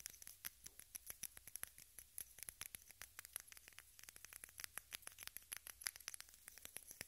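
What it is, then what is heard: Plastic case tapped with fingernails. A small rectangular pink plastic case, held above the recorder, is tapped rapidly with long red nails. The result is a dense, steady stream of very short, bright clicks with almost no ring and little low end.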